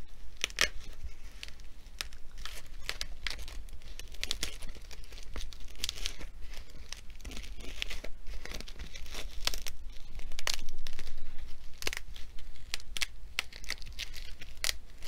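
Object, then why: Filled nylon fabric sandbag. A filled blue nylon fabric sandbag with black trim along its edge is held in the hands and scratched and rubbed with fingers and nails. The result is a steady stream of dry, crinkly scratching with brief bright rasps at an uneven pace. A low, constant rumble runs underneath, and the scratching swells a little louder near the end.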